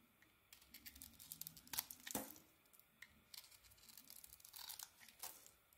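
A small metal blade scrapes and carves curls and flakes off a rectangular solid bar of soap, dark brown outside and pink inside, held in the palm. Quiet, bright, crackly scraping and tearing strokes come in short, dry bursts with no ring, the loudest near the middle of the clip.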